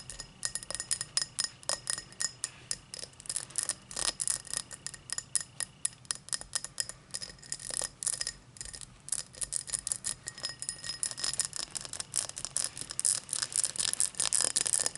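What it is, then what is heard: Cut crystal highball glass. Long black nails tap rapidly over the body of a tall, empty cut-crystal highball glass lying on a towel, and the glass is lifted slightly. Dozens of quick, bright, clicky taps with almost no ring follow one another in an uneven rhythm, with very little low end.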